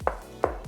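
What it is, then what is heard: Debonded hollow floor tile. Taps on a ceramic bathroom floor tile that is debonded and not properly glued down give short, hollow, pinging knocks centered around 520 Hz with little low end and a quick decay. The hollow sound marks the loose tile, which is to be fixed by drilling holes and filling them with grout.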